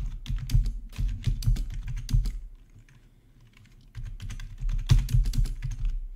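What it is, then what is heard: Plastic membrane keyboard being typed on. Fingertips of both hands type on a full-size black plastic membrane gaming keyboard with RGB backlight and a hollow housing, resting on a marble surface. Quick, irregular bursts of soft, thuddy key taps with a low, hollow body and faint bright clicks pause briefly in the middle and then resume.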